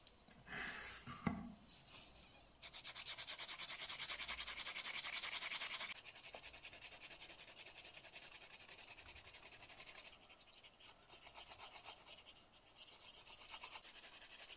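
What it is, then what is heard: Leather strip edge being burnished. The edge of a thin, solid strip of brown crazy horse leather, about 2 mm thick and held in one hand, is rubbed quickly back and forth with a turned wooden edge burnisher (slicker). After a few soft scuffs and one sharp tap, a fast, steady, bright rasping builds and is loudest for a few seconds. It then continues more softly and unevenly to the end.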